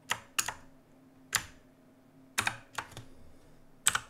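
Both hands type with their fingertips on a black, RGB-lit mechanical keyboard with plastic keycaps resting on a wooden desk. About ten sharp, bright, clacky keystrokes come at an uneven pace, some in quick pairs, each dying away almost at once with quiet gaps between.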